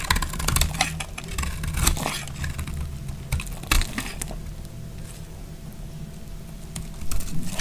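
A hand-sized, solid beige bar of dry soap is held in the hand and shaved with a snap-off utility knife blade. Crunchy scraping cuts come in quick bursts, leaving flakes on the pile of shavings.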